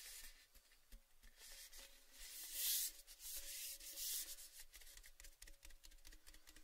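A tall, cylindrical, orange painted metal Baileys tin, empty and open, is held in the hands and rubbed and scratched along its painted side with fingertips and nails. The result is a quiet, bright, hissy scraping with scattered small ticks, swelling to a brighter rasp twice midway, over a faint ringing hum from the tin.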